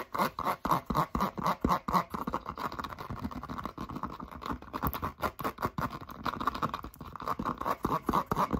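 A handheld, hollow light turquoise Crocs clog of molded foam rubber with a corgi charm is scratched and tapped all over with long pink acrylic nails. The fast, aggressive strokes make a rapid, uneven run of dry scratches and soft hollow taps, with a resonant tone near 1 kHz.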